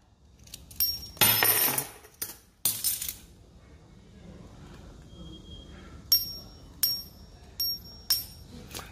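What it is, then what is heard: Fake silver coin (silver-plated copper). Several silver-plated copper dowry coins, fakes passed off as silver, are dropped and clinked together, giving a series of bright, high-pitched metallic clinks with short rings. Their tone "floats" instead of "sinking" like real silver does, so they don't ring true, and grinding shows yellow copper beneath the white plating.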